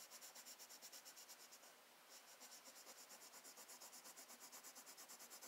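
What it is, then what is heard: Paper sketchbook page scratched by colored pencil. An orange wooden colored pencil tip rubs and scratches across a thin, flat page of a spiral-bound Strathmore sketchbook resting on a desk, making short back-and-forth coloring strokes. The result is a steady, rhythmic, bright, high scratchy rasp with a brief softer lull near the two-second mark before the strokes resume at the same pace.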